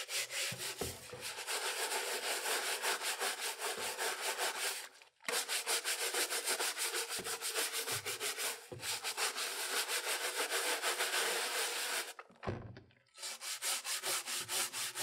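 A gloved hand scrubs the hollow grey ABS plastic bottom shell of a broken, yellowed Super Nintendo console with a pink-bristled plastic hand brush while holding it in a tub of soapy water. Rapid back-and-forth brush strokes make a dense, bright, hissing rasp in three long bursts, broken by short pauses near the 5 and 12.5 second marks.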